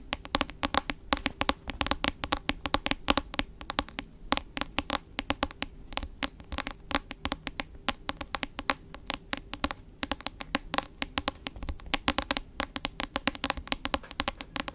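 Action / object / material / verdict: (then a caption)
tap / hardcover book with glossy cover / cardboard / none. A medium-sized hardcover book with a glossy cover, held in both hands, has its solid cover tapped and scratched with long acrylic nails. Rapid, sharp, bright clicks follow one another almost without pause, mixed with brief scratching sounds over a faint low hum. Each tap dies away almost instantly.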